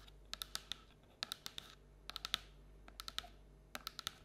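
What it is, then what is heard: Paper treat bucket tapped with nails. Long black-and-orange nails scratch and tap along the outside wall of a hollow printed paper or cardboard Halloween treat bucket with an orange-and-black pumpkin print, held tilted on a table. About 19 quick, dry, bright clicks come in small clusters, with faint scratchy rasps between them over a quiet background.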